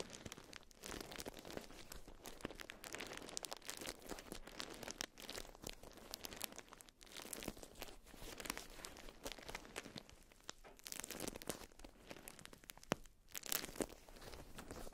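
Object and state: Beeswax-coated cotton food wrap being crumpled.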